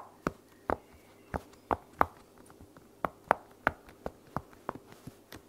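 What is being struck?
Silicone bubble pop toy.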